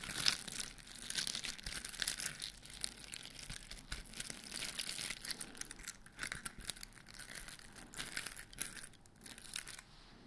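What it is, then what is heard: Glitter-coated foam Christmas bauble. Fingertips and nails scratch and tap the rough, glittery crystal coating of a large white polystyrene-foam Christmas ball, likely solid foam, with grey star decorations and a hanging string. The result is a steady, dense, bright scratching and crackling with quick dry ticks, almost no low end and very little ring.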